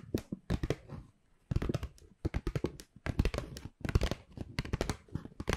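An empty-looking white Pandora paper shopping bag with black rope handles is held close to the mic and scratched and crinkled with long pink acrylic nails. Quick bursts of papery crackling and scraping come in clusters with short quiet gaps between them. The sound is full and close, with crisp bright edges on the sharper crinkles.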